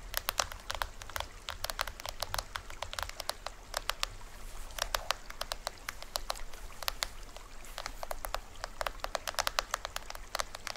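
Fingertips and nails tap the top head and green plastic rim of a small hollow toy drum with a printed shell, held upright. The taps are quick, dry and clicky, with a bright attack and almost no ring, falling in irregular bursts over a steady low hum.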